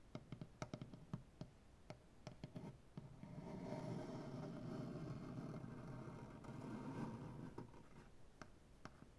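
One hand taps and knocks with fingertips and nails on a solid light wood butcher block tabletop, making sharp, short, dull knocks. The tapping gives way to a sustained scratching across the wood surface, then a few more taps follow at the end.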